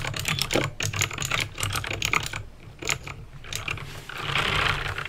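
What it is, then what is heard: Plastic mechanical keyboard, clicky switches. Fingertips with painted nails type on a backlit plastic mechanical keyboard with clicky green switches. Rapid bursts of bright, sharp clicks play over a steady low hum. The typing pauses briefly mid-clip and ends in a denser, brighter burst of clatter.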